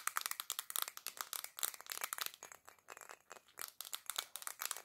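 Long black nails tap rapidly on a black glass perfume bottle with gold decoration, held in both hands. A fast, continuous run of sharp, clicky taps with bright, high glassy tone and almost no low end. Each tap dies away instantly.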